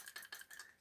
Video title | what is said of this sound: Ford Focus Ecoboost Turbocharger Under boost And Mystery Hesitation Problem On Acceleration (FIXED) | there's something rattling inside it